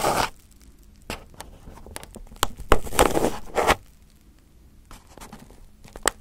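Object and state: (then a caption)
Aluminum foil over a microphone, picked and scratched. A small pin held in the fingertips picks and scratches at crumpled aluminum foil wrapped over a round microphone head. Sharp, crinkly crackles and scrapes come in irregular bursts, louder in the middle, with quiet gaps between them over a low background rumble.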